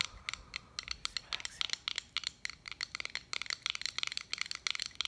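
Long acrylic nails tap and scratch the domed face of a small round metal button badge reading "Peer Mentor," held between the fingers. A rapid, uneven run of sharp, clicky taps mixed with brief scratchy strokes sits almost entirely in the bright high range with almost no low end. Each tap dies away instantly.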